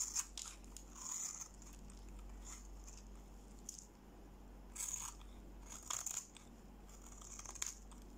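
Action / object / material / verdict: scrape / bar of soap scraped with a steel blade / soap / none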